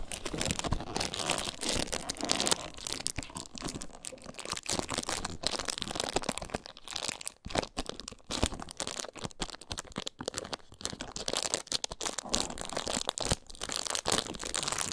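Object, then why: Faux leather handbag. Long nails scratch and squeeze the top edge and panel of a small snake-print faux leather handbag held in both hands. The result is a steady, dense stream of quick, dry crinkling and scratching with a bright, hissy edge and little low end. Short crunchy bursts run throughout with only brief dips between them.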